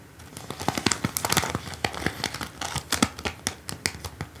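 Long acrylic nails tap and scratch across small plastic rhinestone stickers on a flat paper backing card held in a hand. A rapid, irregular run of sharp, bright clicks mixes with crinkly, papery scratching, each tick dying away almost instantly.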